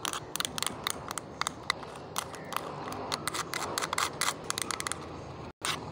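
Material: Plastic.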